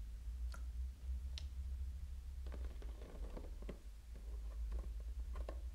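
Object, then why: Plastic water bottle. A small, clear plastic water bottle, full of water, with a blue label and cap, is tapped with fingernails in a typing-like pattern. Quiet, dull clicks and light patter sound over a steady low hum, with a few brighter ticks. Each tap fades quickly, with a faint mid-pitched tone around 535 Hz.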